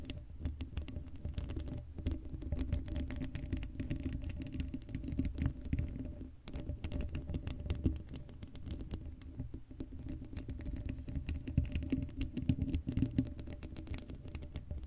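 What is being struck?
Woven metal mesh microphone grille.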